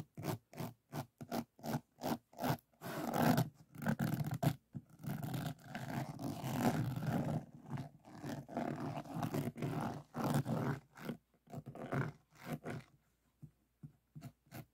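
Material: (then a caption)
Resin. Fingertips and nails of both hands scratch across the resin drills of a finished diamond painting resting on a flat board. The result is a run of short, rough scraping strokes, some quick and separate and others drawn out into longer rasps, with a dull, low-heavy tone and little brightness.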